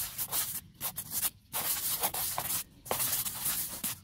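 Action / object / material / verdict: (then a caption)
scrape / bark-covered tree log / wood bark / none. Two handheld scrub brushes with white and pink plastic bristles scrub quickly over a large, solid, rounded log or trunk with rough grey bark. The strokes make a bright, hissy, broadband scratching that is mostly high and has little low end. Short quiet gaps break up the rapid, uneven rubbing.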